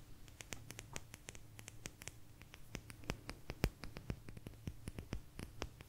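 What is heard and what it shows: A small, thin, solid blue agate slice, held in both hands, is scratched and tapped with long nails. Quick, bright, dry clicks and taps come in a steady, uneven patter over a faint scratchy rasp, with a low hum underneath.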